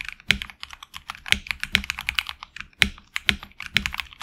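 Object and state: Mechanical keyboard with plastic keycaps.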